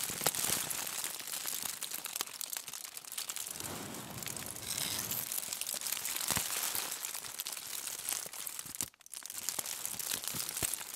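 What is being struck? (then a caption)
Crumpled aluminium foil bundle. A crumpled, hollow aluminium foil bundle is scratched and squeezed with long nails and fingers, giving a steady stream of bright, dense crinkles and sharp clicks. A fuller, lower crunching swell comes through the middle, and the sound briefly drops out near the nine-second mark before the crackling resumes.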